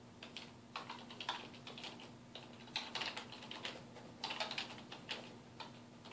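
Fingertips of both hands type on a black plastic computer keyboard resting on a wooden desk, producing bright, crisp key taps in quick, uneven bursts with short pauses between. Each tap is short and clicky, with little low end, over a faint steady low hum.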